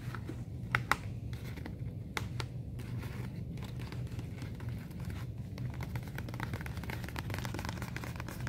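Fingertips and long nails tap and scratch across the front flap of a medium yellow messenger bag made of stiff woven/nonwoven fabric with black piping, hollow and hanging on a store display. Short, dry crinkly taps and scratchy rubs come through, with a few sharper taps near the start. A steady low rumble sits underneath throughout.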